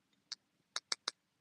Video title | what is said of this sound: How I Do My Own Nails. Nailed You is live! | if you hear a click click click sound is dry